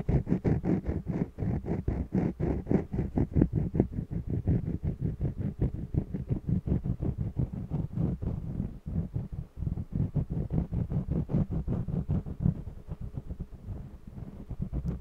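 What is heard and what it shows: A red jumbo wax crayon held in the fingertips is rubbed across a small, hollow-backed stretched cotton canvas on a mini wooden easel in a coloring scratch. Quick, uneven back-and-forth strokes make a dense run of dull, low, drum-like scuffs, with the hollow canvas booming softly beneath each pass. There is almost no high or bright hiss.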